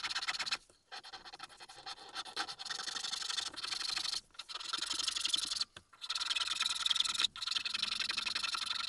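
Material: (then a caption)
Wood. A small, solid, pale wooden Tengu mask keychain blank, held on a mat, is scraped with a slim metal needle file in sped-up motion. The result is dense, bright, rasping scratches with almost no low end, running in bursts broken by brief silent pauses.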